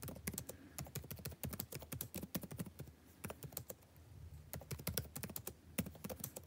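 Fingertips type rapidly and continuously on the blue-backlit plastic keycaps of a dark laptop keyboard. The taps are quick, dry clicks with a soft low thud and bright, short ticks that die away almost at once. The typing briefly slows around the middle before picking back up in steady bursts.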